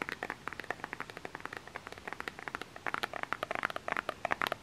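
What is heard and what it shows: A small plastic lotion bottle with an orange cap is held close and tapped with fingernails. It makes a quick run of about thirty light, dry clicks centered near 1.8 kHz with bright edges. Each click dies away almost at once, and the tapping grows faster and louder in the last couple of seconds.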